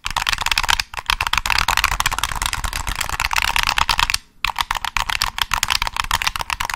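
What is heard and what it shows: Fingertips tap and click the triggers and shell of a hollow black plastic PS3 controller held close to the mic. The result is a rapid, dense stream of crisp, dry, bright plastic clicks, with brief pauses near one second and just after four seconds.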